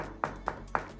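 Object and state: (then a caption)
Well-bonded ceramic floor tile. A ceramic bathroom floor tile that is properly glued down is tapped three times. Each tap is short and solid, centred around 860 Hz, and dies away almost at once with no ringing or hollow rattle. The tile sounds well bonded to the floor.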